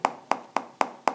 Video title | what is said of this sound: iphone 12 manufacturer issue In made in india products | अगर आप middle portion में टैप करोगे तो ऐसे आवाज़ आएगा, ऊपर पर्सन में वैसे आवाज़ नहीं आएगा